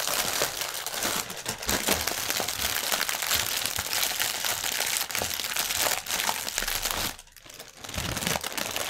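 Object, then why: Plastic air cushion packaging strip. Fingertips crinkle and press a clear, inflated plastic air-pillow packaging strip resting on a table. The result is a dense, continuous, bright crackling and crinkling, with many small crisp snaps layered together. The sound drops briefly to near quiet around the seven-second mark before the crinkling resumes.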